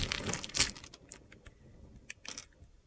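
A utility knife blade cuts and scrapes strips off a solid, hand-sized light blue soap bar with a dark blue edge, held in the palm. Bright, crisp crunching and scraping comes in short bursts, with one louder crack early on, over a quiet background.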